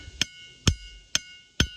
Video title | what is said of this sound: Making Rocks Sound Like Bells At Ringing Rocks Park In Pottsgrove Pennsylvania - Roadside Attraction | there's a couple of rocks here that sound really good